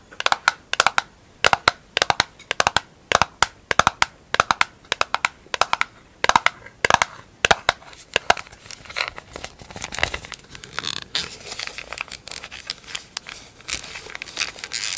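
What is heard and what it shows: A small, hollow round pink plastic lid from a grapefruit product, with a paper label, is held in the hands and scratched and pressed with long acrylic nails. Sharp, bright clicks and taps come in rapid bursts for the first half, then give way to a denser, continuous scratchy crinkling.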